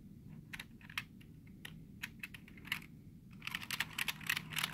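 Fingertips tap and rub the space bar and lower row of keys on a black plastic computer keyboard. Bright, dry plastic clicks come in an uneven series with soft scratching between them, growing denser and louder toward the end over a faint steady low hum.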